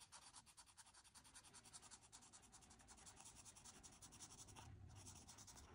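A marker nib is drawn and rubbed in quick strokes along the wavy frame edges of printed line art on a flat white paper coloring sheet. Dense, rhythmic scratchy rubbing carries a bright hiss, with each stroke a soft pulse in a steady back-and-forth run.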